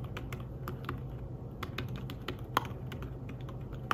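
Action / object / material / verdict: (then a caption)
tap / fabric-covered tablet keyboard / fabric / none. Fingertips type in quick, irregular bursts on a thin, flat, grey fabric-covered folio keyboard for a tablet. The key presses come as soft, muted, short clicks with bright tips, over a steady low rumble. Two sharper, louder taps stand out near the end.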